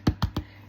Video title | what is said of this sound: How to make Pistachio Butter and Creamer | tap on the bottom and see if you can hear it that it's hollow. Then you know that it's ready